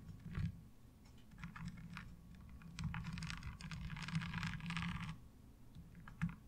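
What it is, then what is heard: Plastic washboard tapped with nails. Long fingernails tap quickly on the ridged surface of a light blue ribbed plastic laundry washboard, making a fast run of dry, clicky taps over a steady low hum. The tapping thickens into a dense, brighter rasping stretch in the middle. It thins out near the end and closes with one sharper tap.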